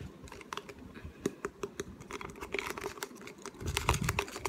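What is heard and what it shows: A small, hollow, clear plastic water bottle with a white cap and paper label is held in both hands and tapped and scratched with fingertips and short nails. The result is a run of quick, light, clicky taps mixed with soft scratching, each tap dying away almost at once. The tapping grows busier and slightly louder near the end.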